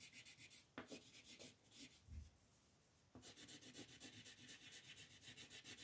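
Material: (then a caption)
Paper. A yellow-orange colored pencil scratches back and forth across a paper coloring sheet resting on a table, in continuous shading strokes. The quiet, bright, papery rasp pulses with each stroke. It briefly eases off in the middle, then resumes steadily.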